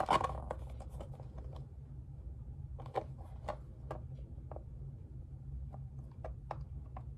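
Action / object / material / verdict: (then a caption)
tap / small plastic heart-shaped box / plastic / none. Fingertips and nails tap on the lid and along the rim of a closed, hand-sized, hollow pink plastic heart-shaped case. Short, dry, bright clicks land at uneven intervals over a steady low hum, each dying out almost at once.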